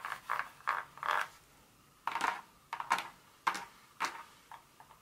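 Long nails on both hands tap the surface of a solid dark chocolate bar lying on foil on a carpet. The clip is a quick series of short, dry, crisp clicks centered around 1 kHz, with little low end. Some taps come in fast little clusters, separated by brief quiet gaps.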